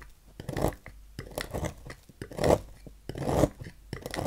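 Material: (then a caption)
Soap. A thin metal knife scrapes and carves flakes from the edge of a solid, palm-sized green bar soap with a swirl emblem, held in the hand. Irregular, dry rasping strokes swell and fade in quick succession, with a gritty mid-range texture and almost no ring after each scrape.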